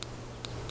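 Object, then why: Terracotta eyeshadow pan. Three light, sharp ticks from tapping the exposed terracotta base plate of a baked Milani Bella Eyes eyeshadow in the shade Bella Cappuccino, worn down until it has hit pan. The brief clicks sit over a steady low hum.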